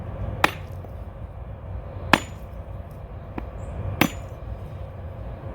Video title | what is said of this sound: How To Open A Coconut - DIY - Episode 5 | just before your coconut is about to crack the sound when you tap it changes and begins to sound more hollow